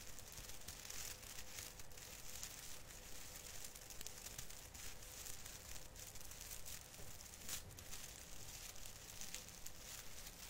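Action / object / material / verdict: scrape / artificial fir tree branches with plastic needles / plastic / none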